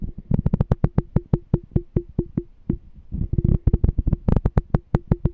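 Fingertips tap and scratch the side of a small, clear, empty glass "Smart Canister" jar with a pink label and a checkered lid, held in one hand. The result is a rapid run of short, dull, low knocks that die away almost instantly, each with a faint brief ring, broken by a few softer scratchy patches.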